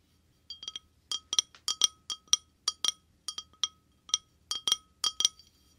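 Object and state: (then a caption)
Glass wine glass tapped. An empty, clear, hollow wine glass, held by the stem, is tapped quickly on the bowl with short fingernails. It gives a fast, uneven run of bright, high clinks with a short glassy ring, each fading almost at once. There is no low end beneath them.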